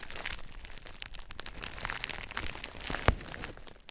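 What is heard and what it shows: A sheet of foil-lined, metallized plastic bubble wrap is held over a binaural microphone and scratched and squeezed with long nails and fingertips. The result is continuous bright crinkling and crackling with dense small ticks and one sharp louder pop near the end.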